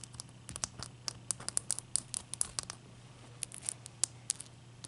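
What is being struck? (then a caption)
Ice block. Long nails scratch and tap the surface of a single wet, solid, clear ice cube resting on a towel as it melts. The result is a quiet, irregular series of short, bright clicks and scrapes that stop almost instantly, over a faint, steady low hum.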